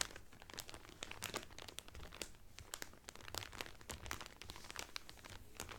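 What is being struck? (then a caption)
Cellophane-wrapped cotton towel. Fingertips and nails crinkle a clear cellophane wrapper around a blue Carnival cotton towel folded flat. Dense, rapid crackles with bright, sharp peaks sound over a quiet low rumble, each snap dying almost instantly.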